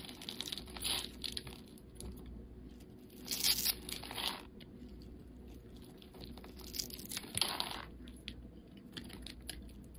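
A metal utility knife blade scrapes and cuts into the pre-scored surface of a solid, hand-sized, light-blue bar of soap held in the hand, breaking it into small soap cubes and shavings. Bursts of bright, crisp crunching and scraping rise around one second, from about three to four and a half seconds, and again near seven seconds, over a faint, steady low hum. Each crackle dies away almost instantly.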